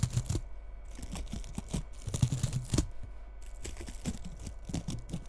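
Long red nails scratch through the bristles of a small frosted bottle-brush Christmas tree with bead ornaments, held tilted. The result is a dense, dry rustling and crackling made of quick, uneven scratchy bursts, with a low, muffled body and brief bright crackly edges.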